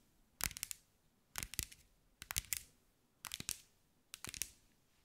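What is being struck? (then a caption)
Glass mosaic-tiled ball. Long white nails tap and scratch a hand-sized round ball, likely hollow, covered in small green mirror glass mosaic tiles. Five quick bursts of bright, crisp clicking taps land about a second apart, each dying away almost instantly with no ring.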